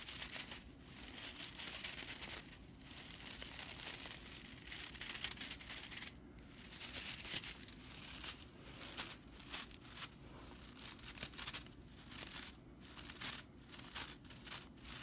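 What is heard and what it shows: Long nails rake and scratch across the ends of a flat bundle of dry straw whisk broom bristles. The result is a bright, dry, crackling rattle, almost all high hiss with little low end, coming in dense scratchy bursts broken by short pauses.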